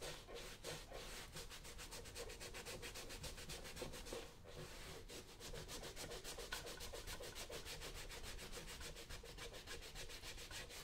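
A brown smooth leather lace-up work boot, worn on a foot on a shoe-shine stand, is held steady by one hand while the other briskly buffs it with a yellow cotton cloth. Quick, rhythmic swishing rub strokes run steadily throughout, with a low rumble underneath and a brief lull around the middle.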